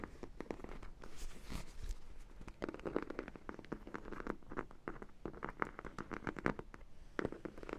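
Long nails scratch and tap across the yellow side and glaze of a large, hollow sprinkle-donut dog toy, likely vinyl. The result is a steady run of quick, dry scratches and soft plasticky ticks. Each has a brief hollow low thud underneath, and every stroke dies away almost at once.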